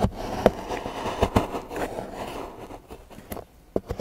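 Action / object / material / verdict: scrape / milk chocolate bar scraped with a steel knife / chocolate / none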